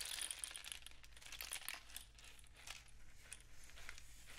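A long, hollow, painted cardboard rainstick tube is tilted and raised upright, sending its inner filling cascading down inside. It makes a soft, dense, bright patter of tiny clicks and rustles that swells and thins over a steady low hum.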